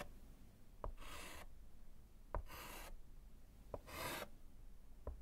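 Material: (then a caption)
Slate. A gloved hand writes and hatches lines with orange chalk on a small solid slate chalkboard set in a wooden frame. Four short chalk taps alternate with three bright, raspy scratching strokes that hiss across the high range, over a quiet low background.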